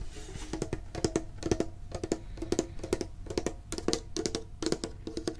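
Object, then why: Thin sheet-metal card tin. A medium, printed, hollow metal Pokemon card tin near the mic is tapped with the fingertips and nails in quick, steady bursts of clicks. Each tap gives a short, dull metallic knock with a low ring around 360 Hz and bright clicky edges from the nails, fading almost instantly.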